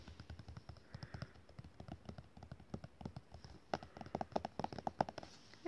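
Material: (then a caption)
Paper. Fingertips and short nails tap and scratch a glossy black-and-white photo page lying flat in a large open art book. A steady run of soft, dry taps, with light scratching between them, gives way after about 3.7 seconds to louder, sharper clicks with a tonal ring near 770 Hz, each dying away almost instantly.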